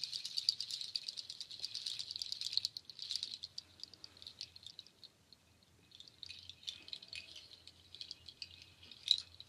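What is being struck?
Nut shell waterfall shaker.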